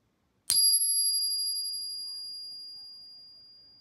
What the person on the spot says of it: nice long ring that you expect to hear from 90% silver